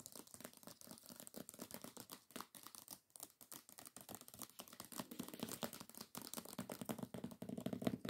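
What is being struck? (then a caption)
Hardcover book with glossy paper dust jacket. Long acrylic nails tap and scratch fast across the glossy paper dust jacket of a hardcover book lying flat. The result is a quiet, dense stream of crisp clicks and crinkly, papery scrapes with bright, sharp edges. A warmer tone builds and grows slightly louder toward the end.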